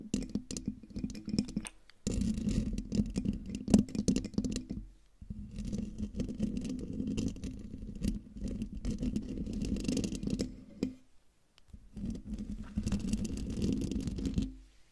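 Long dark nails scratch the hollow domed metal mesh grille and metal body of a silver Blue Yeti microphone, producing dense, rough scraping with a low resonant hum near 200 Hz and faint bright crackle. The scratching comes in four sustained bursts separated by brief silent pauses.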